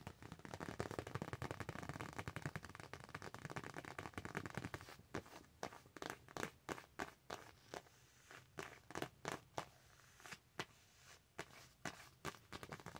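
Long acrylic nails scratch and tap across the surface of a thin, flat Nightmare Before Christmas paper sticker sheet held in both hands. For the first five seconds there is a dense, crackly scratching. This gives way to a run of sharp, separate clicking taps with quiet gaps between them.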